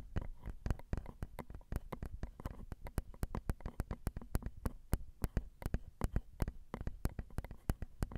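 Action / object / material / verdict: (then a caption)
tap / metal mesh microphone grilles tapped with acrylic nails / metal mesh / none. Long rhinestone acrylic nails tap the small, hollow metal mesh grilles of a Zoom recorder's XY microphone capsules. The result is a rapid, steady stream of soft, dry taps with a deep, muffled thump and a brief bright click on each. The taps stop almost instantly with no ring.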